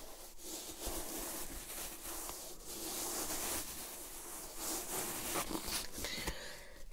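Long manicured nails scratch and rub along the hair-on upper of a single leopard-print calf-hair ankle boot with a black side panel, held hollow and empty in the hand. A quiet, steady, bright bristly rustle continues throughout with small swells, and the clip ends with a sudden louder scrape.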